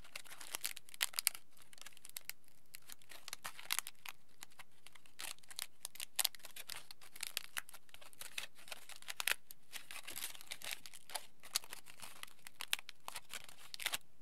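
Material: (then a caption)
Aluminium foil. A crumpled ball of thick aluminium foil is pulled open and flattened with the fingertips. It makes a steady stream of dense, bright crinkles and sharp crackles, with louder snaps scattered throughout. The whole clip stays quiet.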